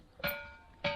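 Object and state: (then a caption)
Ringing rock with a steel-like tone. A ringing boulder, the Thinthini Pathar in Mainpat, is struck twice with a small stone. Each strike gives a bright metallic clink with a sustained ringing tone around 580 Hz that fades over a fraction of a second. This spot on the rock sounds like steel, since different spots give different sounds.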